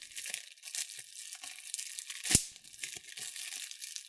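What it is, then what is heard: Plastic bubble wrap. Thumbs and fingertips pinch clear plastic bubble wrap, squeezing and popping its air bubbles. Steady bright crinkling and crackling run throughout, with one sharp, loud pop just past the middle that cuts off almost instantly.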